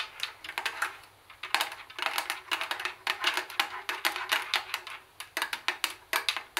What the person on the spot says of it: I am tapping the cd tape recorder with my long nails.